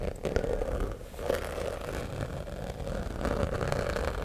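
Fingernails scrape and scratch the glitter surface of a fuchsia glitter fabric cosmetic zip pouch with a black lining, held close to the microphone, and the zipper may also be handled. A steady, gritty scratching rustle with a low rumble and a mid-range tone near 500 Hz is heard, dotted with small sharp ticks and swelling and easing over a few seconds.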